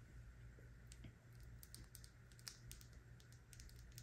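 A small dark-blue glass Kiehl's serum bottle with a black dropper cap, filled with liquid, is held in the hand and tapped and scratched with long nails. Quick, light, high-pitched clicks and taps scatter over a faint, steady low hum throughout.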